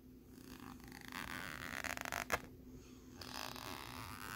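Fingernails scratch across the ridged surface of a thin, flat plastic lenticular postcard with a jellyfish image, held in the hand. The quiet scratching is a soft, raspy sweep over a faint steady hum, building into a burst of quick ridged ticks and one sharp click partway through before settling back into gentle scraping.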